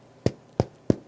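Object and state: Hollow-sounding, fully baked bread loaf.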